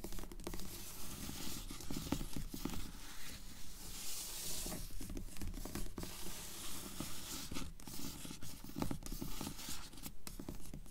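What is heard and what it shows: Long nails tap and scratch the glossy cover of a purple paperback book lying flat. Quick, fairly regular tapping and scratching continues throughout, dry and short with little ring, mostly low with some bright scratchy hiss.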